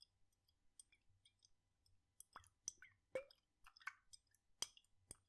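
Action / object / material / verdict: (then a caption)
shake / glass jar with liquid / glass / none. A glass jar with a red lid, partly filled with blue liquid, is tilted and shaken in one hand so the liquid sloshes inside. Quiet, irregular sloshes and wet clicks sound against near silence, with bright, crisp high tones and short, sharp decays.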